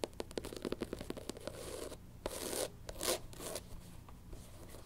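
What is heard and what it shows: A black canvas platform sneaker with a thick white rubber sole is held in the hands and tapped and scratched with long pink nails on the sole edge and the canvas upper. A quick run of sharp, dry clicks gives way to longer, bright scratching and rubbing sweeps over a low steady hum.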